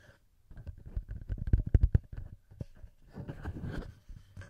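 Fingertips and nails tap and scratch the metal microphone capsules of a handheld recorder, with hands cupping over the capsules at times. The result is a quiet, close run of dull, bass-heavy thumps and soft scratchy rubbing. The taps bunch into a louder cluster in the middle, then give way to a muffled, grainy stretch of rubbing.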